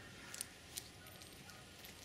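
Pieces of wood biochar are clinked together, giving three bright, glassy, high-pitched clinks over a faint background hiss. The clear glassy ring shows the charcoal is fully burnt through and the pyrolysis was complete.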